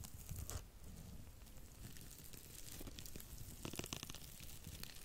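A porous, dry blue cellulose sponge is bent and scratched with long nails above the microphone. It gives a steady, quiet crinkling and tearing texture over a soft low rumble, with bright, crisp crackles bursting through near the start and again toward the end.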